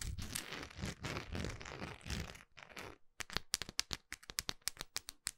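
Long nails scratch and rub the grainy side of a large, solid orange wax pillar candle, close up. About three seconds of dense, crinkly scraping with a low rumble give way to a run of sharp, bright, separate clicks and taps with short gaps between them.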